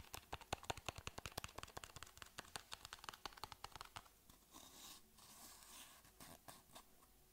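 A small, hollow white cardboard box held in the hands is tapped with fingernails in a fast, uneven run of about 33 crisp, dry clicks with no ring. After about four seconds the fingernails switch to softer, continuous scratching across the box, with a few scattered light taps near the end.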